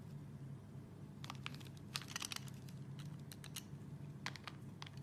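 A solid, translucent, hand-sized red soap bar is held in one hand and shaved with an orange plastic Y-peeler with a metal blade, each scraping, peeling stroke pulling off thin curls. Quiet, bright, crisp crackling scrapes come in short clusters over a steady low hum.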